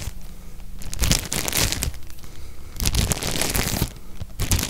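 A tall stack of nested white ribbed disposable cups, thin plastic or paper, sits in a clear plastic sleeve held in one hand while fingertips squeeze and crinkle the wrapper. Bursts of loud, bright crinkling and crackling alternate with quieter rustling, over a heavy low rumble from handling.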